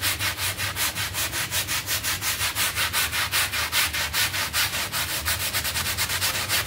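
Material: Synthetic pile.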